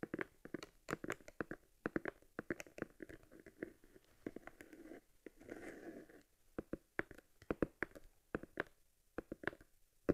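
Fingertips and nails tap and rub along the stitched genuine leather of a small, hollow Argus C3 leather camera case held on its side. Quick, dry, close taps with a low-mid tone come in uneven bursts, broken by a longer soft rubbing scratch in the middle. Each tap dies away almost at once.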